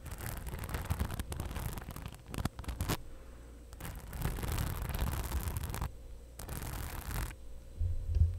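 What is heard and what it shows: Long acrylic nails scratch and tap the rhinestone-covered front pocket of a medium cream fabric/faux-leather crossbody bag, which is soft and hollow and held up close to the mic. The result is bursts of dense, low, muffled scratching and rustling with brief quiet gaps between them, plus a few sharper taps.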